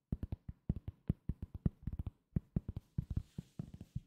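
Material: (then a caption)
Cork. A round, solid cork coaster is held in the hand and tapped with the fingertips in a quick, uneven rhythm of about two dozen separate taps. Each tap is a soft, dull, low thud that stops almost at once with no ring.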